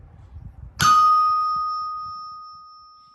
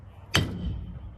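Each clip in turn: First: antique anvil with sound iron structure (rings). Second: dull-sounding cheap iron anvil.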